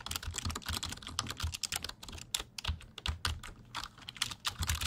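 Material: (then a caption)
Plastic. A black plastic full-size computer keyboard with a hollow body is held vertically beside the microphone while its keys are typed and tapped with fingertips. A rapid, uneven stream of dry, bright key clicks and clatter rides over hollow low thumps from the body. Each tap dies away almost instantly.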